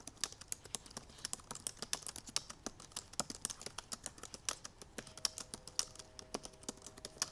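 Long purple nails tap fast across the black plastic keys of a silver aluminum MacBook Pro laptop keyboard. The result is a rapid, uneven stream of short, sharp, bright clicks with almost no ring or low end. Faint steady tones hum underneath during the last couple of seconds.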